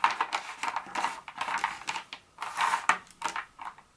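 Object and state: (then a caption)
Dark chocolate pieces tapped and scratched with nails. Long nails scratch and tap on and among small, solid pieces of a broken dark chocolate bar scattered on a countertop. The result is a busy run of crisp, dry clicks and scrapes with a bright, papery hiss and almost no low end. Each tap dies away almost instantly.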